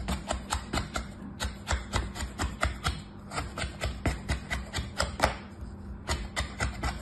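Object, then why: Kinetic sand in a plastic tray, cut with a plastic knife. A hand with orange nails cuts and scrapes lines through packed beige kinetic sand, stamped with round patterns, in a mint-green plastic tray, using a red plastic knife held in the fingers. About two dozen short, crisp crunching strokes sound in a loose, uneven rhythm, each with a soft low thud and bright gritty hiss that stops almost at once.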